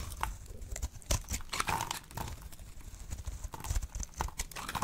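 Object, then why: Bar of soap cut with a blade. A solid, dry, oval pink bar soap held in the hand is sliced into brittle chips with a blade. Quick, crisp cracks and scraping snaps repeat throughout over a soft low rumble, with bright crackle as the chips break away.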